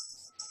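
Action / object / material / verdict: strike / metal dog food bowl and metal name tag / metal / none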